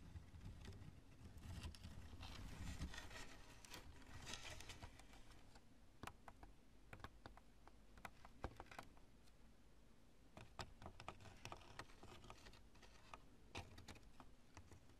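Long nails tap rapidly on a chunk of cured polyurethane spray foam with stringy strands, making quick, irregular dry clicks with bright, sharp edges. A low, steady rumble runs underneath, and a denser crackling swell rises in the first few seconds before settling into scattered taps.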